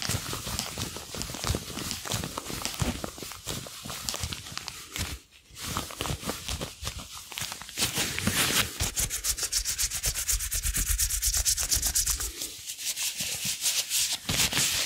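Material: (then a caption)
Rubber. A pair of long blue rubber gloves, worn on both hands with the fingers interlaced, is rubbed glove-on-glove above a foam-covered microphone. The sound is a dense run of squeaky, bright rubbing strokes and short squeals that continues throughout, with a brief quieter dip near the middle.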